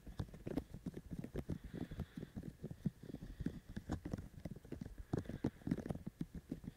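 Both hands quickly tap with their fingertips on the ear shells of a binaural microphone fitted with white silicone ears. The result is a rapid, uneven patter of soft, dull, low thuds that die away almost instantly, with little high-frequency content.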